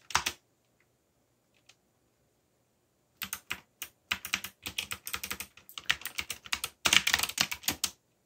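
Fingertips type on a backlit mechanical keyboard with black plastic keycaps. A quick burst of key presses is followed by about three seconds of near silence, then a steady run of rapid, bright, sharp clacks with short gaps between flurries until the end.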